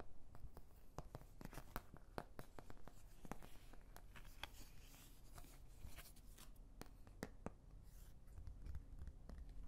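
Long nails scratch and tap the domed bumps of an oval white plastic paint palette's wells. The result is quiet, dry scratching broken by many short, sharp plastic clicks over a low, steady rumble.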